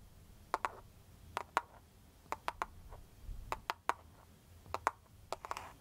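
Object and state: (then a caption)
Plastic phone case tapped with nails. Long foil-covered pointed nail tips tap and scratch a clear plastic cartoon-print case on a smartphone held near the face. Fourteen sharp, dry clicks land in quick pairs and triplets, each with a bright ~1 kHz tick that dies almost instantly. A soft scratching brush trails the final group over a quiet low background.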